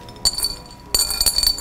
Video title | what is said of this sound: We Cook TV-Snack Attack-MCCain Foods | you can hear how crispy they are